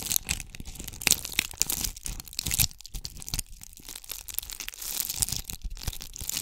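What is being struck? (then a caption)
Round ornament ball covered in small tube beads. A palm-sized round ornament ball covered in small red and gold bugle tube beads is cupped in both hands and scratched with long acrylic nails close to the microphone. The result is a dense, bright, crackly scratching and crunching made of many quick overlapping ticks. The ticks rise and fall in loudness, with a few louder bursts.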